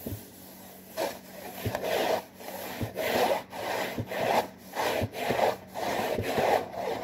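Fingertips and nails scratch back and forth along the front panel and top edge of a hollow, printed cardboard saltine cracker box. Repeated rasping strokes produce a dry, papery scrape centered in the midrange, with faint soft thumps where strokes begin. The rhythm is steady but loosely timed, with brief quiet gaps between strokes.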